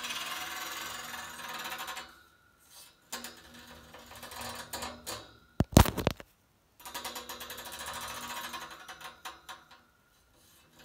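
Fingers and nails scratch and tap along the metal grille slats of the convector fins on top of a white painted steel panel radiator. Long, raspy, ribbed scratching strokes give way to softer tapping, a burst of sharp, loud metallic taps, a brief silence, and then more rhythmic scratching that fades out.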